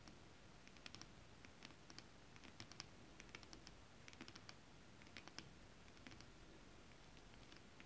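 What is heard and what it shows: Long acrylic nails scratch across flat holographic mermaid scale-print fabric. The result is a quiet, uneven patter of short, dry, bright clicks and ticks that stop almost instantly, over a soft low rumble and faint hiss.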